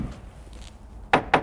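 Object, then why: Boat hull bottom. A hammer taps the bottom of a new boat's hull during a hammering test to check whether it is structurally sound. After a stretch of quiet, low background noise, two sharp, short knocks ring out with a mid-pitched, hollow tone and die away almost at once.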